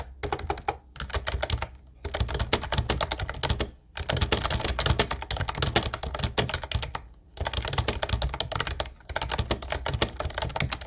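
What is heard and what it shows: Fingertips of both hands type continuously on a full-size, light blue Ubotie plastic wireless keyboard with a hollow body and round white typewriter-style keycaps. Rapid, dense key taps come in bursts separated by short pauses. Each tap has a hollow low thunk under a bright plastic click.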